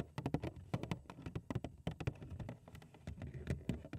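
Long acrylic nails tap fast on the front of a large, hollow, printed cardboard cereal box, which is turned upside down by the end. The taps come in a quick, uneven stream of short, dull, hollow knocks, mostly low and thumpy, with a faint crisp click at each nail strike and almost no ring after each hit.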